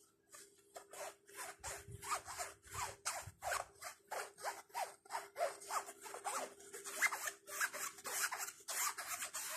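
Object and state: Nylon shoulder bag being scratched.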